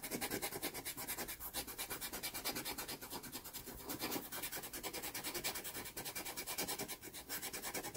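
A cotton swab held in the fingertips rubs back and forth across the pastel-covered surface of a small taped sheet of sanded pastel card (Pastelmat) to blend. The result is a fast, steady run of dry, scratchy rubbing strokes with a bright, hissy texture and almost no low end.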